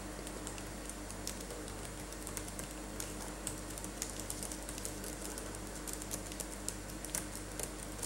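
Both latex-gloved hands type with their fingertips on a black laptop keyboard with plastic keys. A steady stream of soft, bright clicks and taps rises over a constant low hum throughout the quiet clip.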